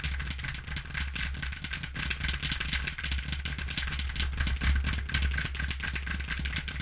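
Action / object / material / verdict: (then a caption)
scrape / corrugated cardboard box / cardboard / none. Long nails scratch rapidly across the panel of a flattened brown corrugated cardboard box marked with a recycling symbol. The result is a dense, irregular stream of bright, papery scratching strokes over a steady low hum.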